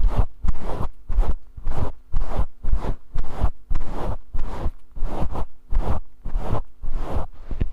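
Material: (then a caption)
Synthetic fur. Fingertips scratch and rub a grey faux fur microphone windscreen held in both hands, producing about fifteen scratchy, rustling bursts at an uneven pace of roughly two per second. Each burst is a heavy, muffled, low rumble with a brief airy hiss on top and quick fades between strokes, over a faint steady low hum.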